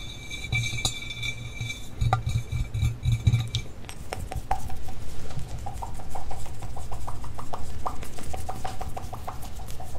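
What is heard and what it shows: Fingertips and nails from both hands tap and knock on the sides and top of a life-size hollow red glass mannequin head, likely a binaural microphone holder. Quick, uneven taps give deep hollow thumps with a low body around 113 Hz and bright, clicky nail ticks that die away almost at once. The taps grow denser and more steady in the second half.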